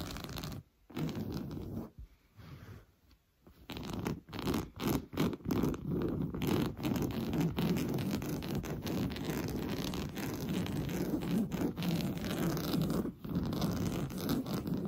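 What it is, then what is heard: Woven fabric sofa cushion. Blue-painted fingernails scratch fast across a large padded sofa cushion covered in orange coarse-weave fabric. Dry, rasping scrapes with a dull, low-weighted body come in short bursts with brief pauses over the first few seconds. They then settle into a steady, continuous scratching that runs to the end.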